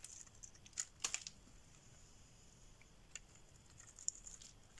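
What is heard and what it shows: A solid green bar of dry soap held in the hand is shaved with a metal blade, curls peeling off. Quiet, bright, crisp scraping is broken by short, sharp high-pitched clicks and ticks that die away almost instantly.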